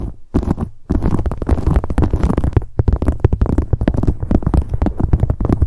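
Long acrylic nails tap rapidly on the front of a medium, hollow black leather handbag. The result is a dense, continuous run of dull, low, hollow thumps with almost no brightness, broken only by two short pauses near the start.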